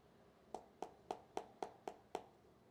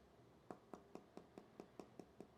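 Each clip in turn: First: solid-sounding phone glass back. Second: hollow-sounding smartphone glass back.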